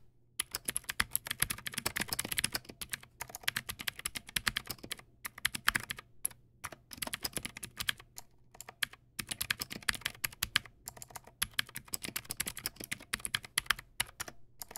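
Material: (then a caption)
Plastic. Fingertips type steadily on a backlit Teamwolf Zhuque+ X08 mechanical keyboard with white plastic keycaps and clicky blue switches. Quick, bright, sharp clicks come in fast bursts with brief pauses between them, each keystroke stopping almost instantly. A faint low hum runs underneath throughout.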